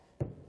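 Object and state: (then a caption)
Wooden plug fully seated (solid). A glued wooden plug is tapped back into its hole in a wooden boat until it bottoms out. A single short, low knock with a dull body around 137 Hz dies away almost at once. The solid sound shows the plug is fully seated, and driving it further would fracture the plug.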